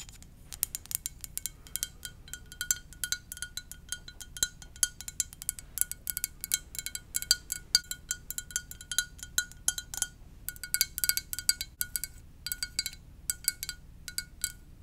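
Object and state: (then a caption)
Ceramic mug, tapped with fingernails. A blue and white, cup-sized ceramic mug shaped like a VW bus, hollow and empty, is held in both hands and tapped with long dark-painted nails. Quick, irregular clicks and taps fall in rapid bursts, each with a bright, glassy tone that dies away almost at once. The sound is mostly high and crisp, with very little low end.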